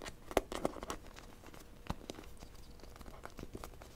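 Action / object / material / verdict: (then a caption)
tap / small plastic toy figure / plastic / none. A small blue plastic toy figure is tapped and scratched quickly with long nails and fingertips. Sharp, dry clicks and scratchy crinkling come in an uneven, rapid run, with a few louder taps near the start. Each tap stops short with no ring, over a faint steady tone.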